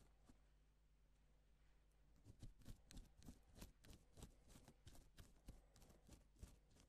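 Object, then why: Plastic sequin fabric. A gloved fingertip draws lines across pink reversible plastic sequin fabric, flipping the sequins to silver. After a couple of seconds of faint low hum, a loose, uneven run of soft, crisp clicks and rustling ticks follows as the sequins flip, each one short and dry over the quiet steady drone.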